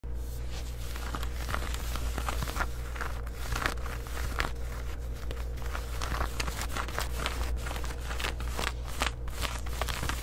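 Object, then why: Denim shorts. Long white acrylic nails scratch and rub worn, soft black distressed denim jean shorts around the waistband and pocket. The result is a steady run of dry, scratchy fabric strokes and brushy crinkles over a constant low hum.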